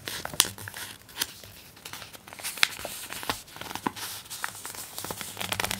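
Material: Glossy paper.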